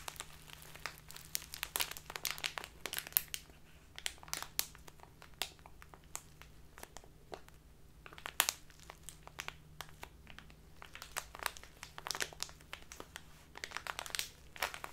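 A clear, labeled plastic tea package full of loose tea is squeezed and crinkled with fingertips and long nails. Dense, bright crinkling and crackling snaps come in quick bursts over a faint low hum, with sharp, dry transients that die away almost instantly.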